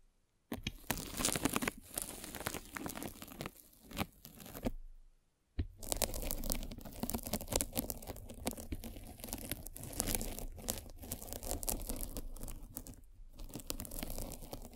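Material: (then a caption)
Polyethylene foam. A metal-spiked derma roller is rolled over white polyethylene foam fruit-style netting, a hollow mesh stretched over a cylindrical microphone. It makes a dense, crunchy crackling with a low rumble underneath, running in long passes with a brief silent pause near the middle.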